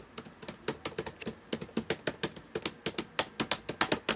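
Fingertips of both hands type quickly on the plastic keys of a black laptop keyboard. About 25 short, sharp clicks land in an uneven, rapid rhythm, each bright and crisp with almost no ring and little low end.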